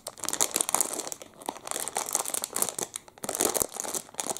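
A clear, hand-sized plastic wrapper around a full Double Chocolate muffin is held in both hands and squeezed and crinkled with the fingertips. Dense, bright crinkling and sharp crackles run nearly continuously for about four and a half seconds, easing briefly at two short lulls before picking up again.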